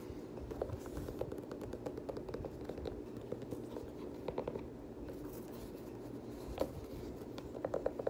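An empty black suede Air Jordan 6 UNC high-top sneaker with a blue rubber sole, held in hand, is scratched and tapped with fingertips and nails on the outsole and suede upper. The result is a steady stream of quiet, dry scratching broken by short, sharp taps with almost no ring.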